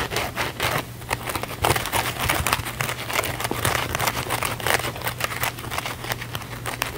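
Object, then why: Cellulose kitchen sponge with scouring pad. A small blue cellulose kitchen sponge with a scouring pad is held in the hands while fingernails scratch its scouring-pad side fast and aggressively. Dense, gritty, bright scraping and crackling bursts follow one another with almost no pause, over a steady low hum.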